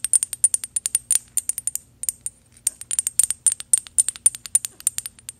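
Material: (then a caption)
Metal. A small gold metal bottle with an ornate cap, held upright, is tapped rapidly with paperclip fake nails. The result is a stream of quick, bright metallic clicks with almost no ring and a brief pause near the middle.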